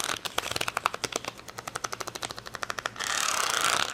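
Long fingernails rapidly tap an acrylic rhinestone sticker sheet with clear plastic backing resting on a towel, making a quick run of about 28 sharp, bright plastic clicks. For the last second, the nails scratch across the gems in a continuous, hissy high rasp.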